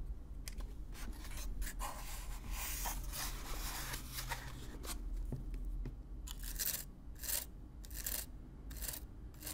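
A stiff black-bristle brush is brushed and scratched across the surface of a hollow, brown corrugated cardboard box, recorded close-up. Repeated bright, raspy bristle strokes sweep over the box, some long and some short, above a steady low hum.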